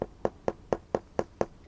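A hiking boot sole in normal condition is knocked seven times for comparison, giving short, dry knocks with a mid-pitched hollow tone around 500 Hz that stop almost instantly. The sole sounds normal, not dead.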